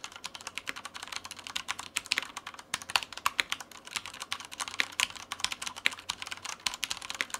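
A black tenkeyless Mars Pro mechanical keyboard with Cherry brown switches, plastic keycaps and a white frame, resting on a white desk, is typed on continuously with the fingertips of both hands. Rapid, bright, clicky key presses clatter in a steady irregular stream, each short and dry with almost no ring. Occasional louder, sharper presses stand out.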